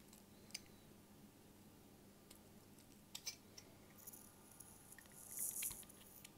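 A hand-sized, solid cream-colored rectangular bar of household laundry soap is held in one hand while a bare utility-knife blade shaves and scrapes thin curls off its edge, with flakes falling. The clip is quiet and mostly high and bright. Faint scraping runs under a string of short, crisp clicks and ticks, and a louder hissing scrape comes near the end.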